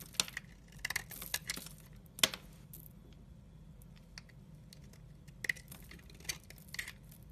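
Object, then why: Glycerin soap bar. A utility-knife blade scrapes and cuts shavings off a solid amber glycerin soap bar, giving about a dozen short, bright scraping clicks and crisp snaps at irregular intervals. The sounds are quiet and dry with almost no ring, over a faint low background hum.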